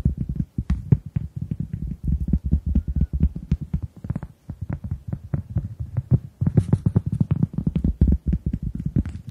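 A round, flat, solid hand-sized cork coaster is held in both hands and tapped and scratched with long acrylic nails. Rapid, dull, low taps follow one another closely, each dying away almost instantly, with brief pauses near four and six seconds and faint bright scratchy edges on some strokes.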